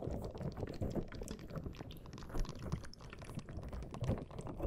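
A small green soft rubber ball covered in spikes is held by the mic and squeezed and rubbed with fingers and nails. The result is a continuous stream of dense, low squishing and crackling, with quick soft ticks and scratches layered throughout.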